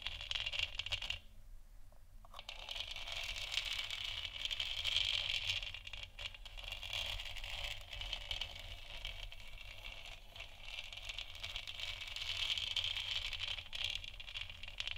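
Long nails tap and scratch along the top edge of a lit, hollow plastic moon lamp sphere, making a steady stream of quick, light clicks and rattly scrapes. The sound is bright and thin, centred around 3 kHz with little low end and short decays. It runs continuously for the whole clip, with a brief quieter gap near the start.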